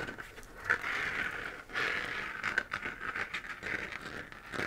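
A hollow, textured, 3D-printed plastic moon-lamp sphere, glowing white, is scratched with fingernails. Dry, papery scratching strokes come in uneven bursts, centered in a bright midrange band around 1.5 kHz, with a few sharper clicky catches along the way.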